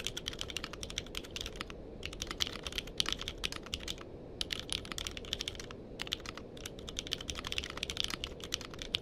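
Fingertips type on a compact mechanical keyboard with a purple case and plastic keycaps, with a microphone placed nearby but not touched. Rapid, bright, clacky keystrokes come in bursts separated by brief pauses, each tap short and dry, over a steady low background hiss.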